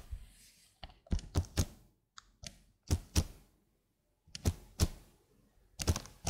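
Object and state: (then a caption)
Plastic computer keyboard keys. Long blue nails press and tap individual keys on a slim black plastic computer keyboard held upright near the mic. Irregular clusters of short, deep, thocky key clicks with bright tick edges die away almost instantly, separated by brief silent pauses.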